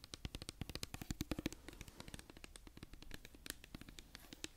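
A hollow white-and-pink plastic cosmetic pump bottle is held close to the microphone and scratched and tapped with long nails. Dense, quick clicks and taps come in rapid bursts, each with a bright attack and a hollow plastic knock around 300 Hz. They fade almost instantly over soft scratching.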